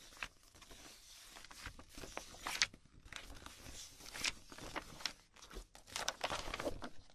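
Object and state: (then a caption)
Glossy magazine pages being flipped. Fingertips with long painted nails riffle, flip and shuffle a loose stack of thin glossy printed magazine pages held in both hands. The sound is a quiet, bright crinkling and rustling, broken by sharper paper flicks and snaps that stop short with almost no ring.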